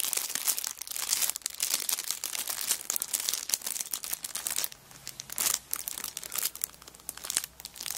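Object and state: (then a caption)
Cellophane-wrapped paper notebook. A cellophane-wrapped kraft paper notebook is rubbed flat on a rug, then lifted and crinkled in hands with long nails. Dense, bright, crackling plastic crinkles run almost nonstop, with a short quieter lull near the middle before the sharp crackling picks up again.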